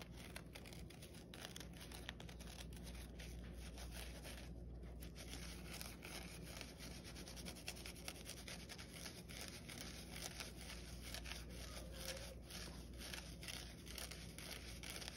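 Fingertips and nails scratch and rub the green abrasive scouring side of a palm-sized rectangular kitchen sponge, a yellow foam body soapy with white foam on top, held over a white bowl. The sound is a quiet, continuous stream of dense, crackly scratching and rubbing with bright, rapid textures over a steady low hum.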